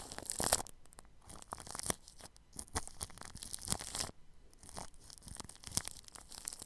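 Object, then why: Paintbrush bristles on plastic cling film. A paintbrush's bristles press, brush and scratch against clear plastic cling film wrapped tightly over a microphone at the grille. The result is a run of crinkly, tearing-like scratches and swishes in irregular bursts, bright and hissy with some low rumble.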